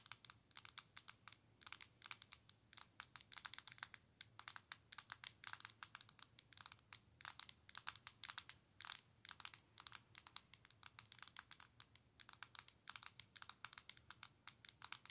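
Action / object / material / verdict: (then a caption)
tap / handheld game console with glass screen and plastic body / glass, plastic / none. Long nails tap and scratch across the glass touchscreen of a Nintendo Switch handheld console with a plastic body. It makes a rapid, uneven run of sharp, bright, dry clicks with a soft scratchy hiss between them and almost no low end. Each tap stops at once without ringing.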